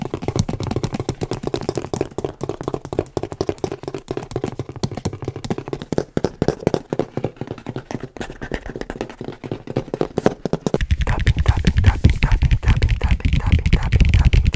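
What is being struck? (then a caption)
Large cardboard box. A large, hollow, printed cardboard Oculus Quest product box is held up and tapped with the fingertips, giving a quick, uneven run of dull, deep, short-lived thuds. Near the eleven-second mark the tapping grows louder and denser, with a fuller low rumble.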